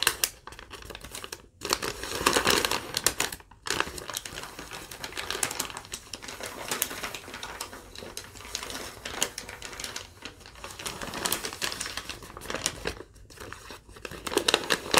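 A crumpled thin yellow lined legal-pad sheet is tapped and scratched across by long nails and crinkled. Rapid, dense, bright clicks and crackling rustles run throughout, with brief pauses near 1.5, 3.5 and 13 seconds.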